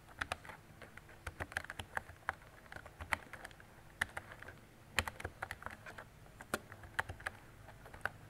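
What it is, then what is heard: Plastic mechanical keyboard being typed on. Fingertips with long decorated nails type on a mint-green retro mechanical keyboard with round plastic keycaps and a hollow body. Quick, uneven clicky keystrokes ring briefly at a bright pitch over a low, steady hum.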